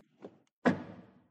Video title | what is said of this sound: Présentation de la VW Golf GTI ClubSport 2024 - Le facelift qui apporte beaucoup ! | Ça sonne différent, mais bien